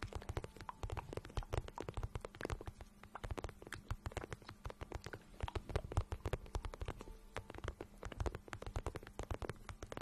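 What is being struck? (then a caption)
Patent vinyl boot. Long nails and fingertips tap and rub the shiny surface of a glossy pink patent vinyl boot, hollow and empty, held in both hands. The result is a dense, steady stream of quick, dull, low-pitched taps with soft scratchy rubbing in between, over a faint low hum.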